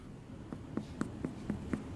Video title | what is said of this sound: Reacting to Bon Appetit | if it sounds Hollow I think that means that like the bread uh inside is cooked and set